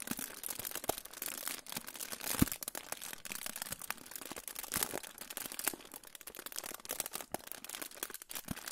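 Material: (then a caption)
Aluminium foil. A crinkled silver aluminium foil pouch is held in front of the microphone and crinkled and rubbed with fingertips. It gives off a steady stream of bright, crackly crinkles with quick snaps scattered throughout.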